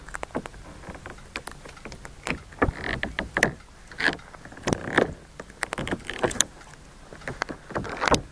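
A hand-sized sheet of clear green jelly slime, soft and solid, is squeezed, folded and stretched with both hands and fingertips above the recorder. It makes a run of short, wet squelches and sticky pops, some with a bright, squeaky edge, over a low, quiet background.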